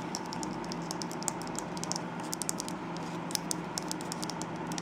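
Long nails tap and scratch along the side of a tall, light-blue, glossy plastic conditioner bottle, producing a rapid run of quick, bright clicks with soft scratching between them. A steady low hum sits underneath throughout.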